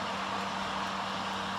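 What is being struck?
Nothing is struck.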